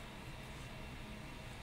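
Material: Nothing is struck.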